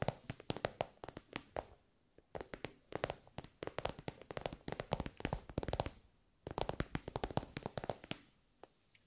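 Long nails tap rapidly on an elongated, soft glossy pink pencil case covered in shiny pink synthetic fabric. Quick, dry, bright clicking comes in three bursts, with short silent pauses near the 2- and 6-second marks. Each tap dies away almost instantly.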